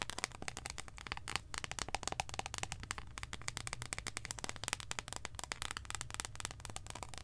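A long, solid, embossed dark chocolate bar, held in both hands, is tapped and scratched with long acrylic nails. Rapid, dry, bright clicks and scratchy ticks come in a dense stream over a low, steady rumble, each tap dying away almost at once.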